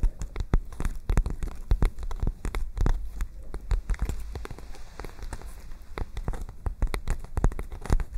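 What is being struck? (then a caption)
Paper notebook pages. Long nails tap and scratch the pages of a white paper notebook, held open and curved in both hands close to the microphone. Many quick, dry taps land in an uneven run, each with a deep, thumpy body and a brief bright crackle. Softer papery scratching fills the gaps between them.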